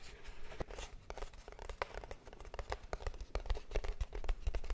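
A small, hollow, closed kraft cardboard box is held up and tapped and scratched with long nails. Quick dry taps with hollow low thumps mix with faint bright scratching in an irregular, quiet rhythm. Each tap stops almost at once with no ring.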